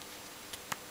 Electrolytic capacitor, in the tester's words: the actual paper electrolyte inside has come loose because it's so dried out and it's shrunk a bit